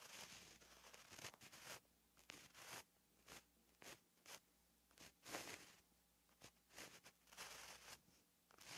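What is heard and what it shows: A gel pen held at the fingertips writes letters on a flat, lined paper notebook page, its tip scratching the paper. Bright, dry scratchy strokes come in short bursts separated by brief pauses, with hardly any low end.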